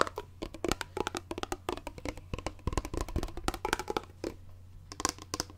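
A clear plastic water bottle, partly full, is held sideways close up while fingers tap and rub its grey plastic lid and bottom. The result is a quick, uneven run of short, dry clicks and knocks, some bright and others dull, with soft rubbing between them. A steady low hum sits underneath.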